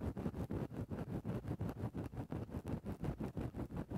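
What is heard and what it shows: A thin wooden stick held in the fingertips pokes and scratches into a large grey fluffy faux-fur windscreen covering a microphone. The result is a steady, rhythmic run of deep, muffled rustling strokes, heavy in low rumble with almost no high end, each stroke swelling and fading quickly into the next.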